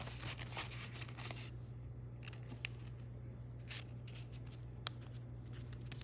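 A small square of thin patterned origami paper, folded into a square base, is creased and rubbed along its folds by fingertips and thumbs. The result is quiet, crisp paper crinkling with brief bright rustles and a few sharp ticks, over a steady low hum.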